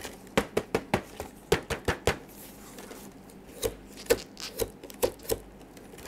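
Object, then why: Small cardboard box. Black-gloved fingertips tap and handle a small printed cardboard retail box holding a PS4 DualShock 4 wireless controller, The Last of Us Part II Limited Edition. A run of quick, hollow, mid-pitched knocks dies away almost at once, with a quieter stretch of soft handling partway through before the tapping resumes.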